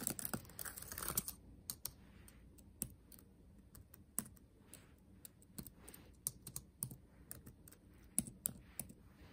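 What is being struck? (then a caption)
Plastic laptop keyboard keys. Fingertips tap on the black plastic keys of a backlit laptop keyboard set in a metal body. A quick, dense flurry of bright clicking opens the clip, then it slows into scattered, separate taps. Each tap is a short, dry click with a soft low thump beneath it.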